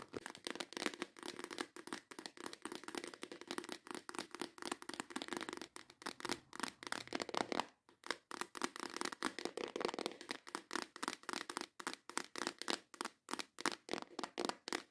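Long acrylic nails rapidly tap and scratch the lid of a small clear plastic compartment organizer box filled with plastic press-on nail tips. The result is a dense stream of sharp, bright clicks and scratchy rasps with almost no low end, each tap dying away almost instantly. A brief pause comes just before the 8-second mark, then the tapping resumes.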